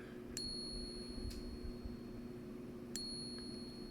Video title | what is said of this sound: How to Authenticate Morgan and Peace Dollars with 5 Easy Tests You Can Do at Home!! | you can hear that ring that you would typically hear of silver. It sounds great.